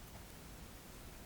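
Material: Nothing is struck.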